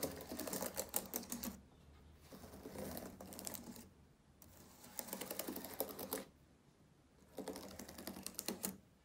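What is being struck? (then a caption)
Plastic laptop keyboard keys. Fingertips press individual plastic keys on a black laptop keyboard, making rapid, dry clicking taps. The taps come in three bursts separated by quieter pauses, each click short and sharp with no ring, over a faint low hum.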